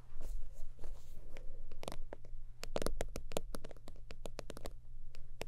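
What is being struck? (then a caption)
Synthetic-leather zip wallet. Long almond-shaped nails tap and scratch across a long holographic faux-leather zip wallet with a soft, slightly crinkly synthetic surface. Soft brushing scratches come first, then a quick run of crisp, dry taps with bright clicks over a steady low hum.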